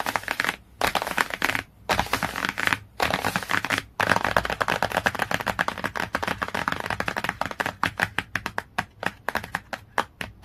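Dozens of quick, crisp clicks run together with bursts of scratching, bright around the upper mids with almost no low end. Nothing rings; every tap stops dead, as fingernails on a stiff, glossy board cover would.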